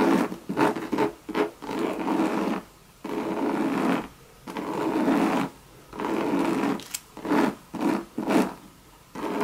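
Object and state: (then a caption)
Coated canvas and leather handbag. Long red nails scratch the coated canvas and leather trim of a hollow Louis Vuitton Monogram bucket bag, producing bursts of dry, rasping scratches with a midrange body. The scratching comes in strokes of varying length, separated by brief quiet pauses.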